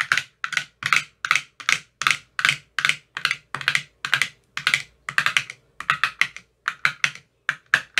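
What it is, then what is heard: Plastic ice cube tray with silicone cups. A metal rod with a white tip taps the green silicone cells of an empty, clear plastic ice cube tray in a steady, rhythmic series. Each tap is a short, dry, hollow click, bright and centered in the upper mids, with almost no low end. The taps stop quickly, with no ring between them.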